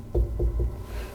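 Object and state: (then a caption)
Hollow masonry wall over a void. Three low, hollow thuds ring out as the masonry of a blocked-off entrance wall in the WW2 bunker under the Vaux-Hall in Brussels is struck. The hollow sound shows a void behind the wall, which corresponds to a tunnel, possibly the royal or senators' access.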